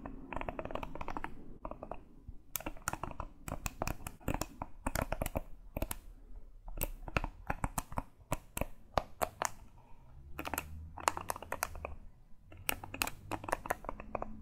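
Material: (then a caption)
Bristles. Fingertips and nails scratch and brush across the dense bristles of a round-backed grey hairbrush held in one hand. The result is quick bursts of crisp, clicky scratching that reach up into the bright range, separated by short pauses, over a soft low rumble.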